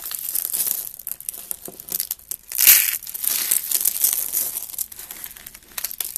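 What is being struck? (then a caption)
Soap shavings. A hand with red nails squeezes and crushes rolled orange, yellow and white curls of dry soap, thin brittle shavings, into flakes. Dry, bright crinkling and crunching comes in uneven bursts with almost no low end, peaking in a loud crunch near the middle. The curls break down into flakes.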